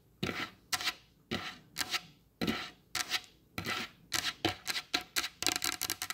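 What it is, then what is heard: Varnished wooden table. Long blue acrylic nails on both hands tap and lightly scratch a solid, glossy varnished wooden tabletop. Sixteen quick, bright clicking taps with short scratchy rasps come in an irregular rhythm and speed up toward the end, each dying away almost instantly.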